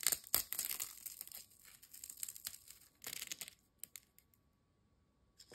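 A single thin, dry, crisp ridged potato chip is folded, snapped and crumbled by fingertips over a glass bowl. It makes quick, bright crackling and crunching bursts with almost no low end, and each fragment stops sharply into brief quiet gaps. A faint steady tone sits underneath.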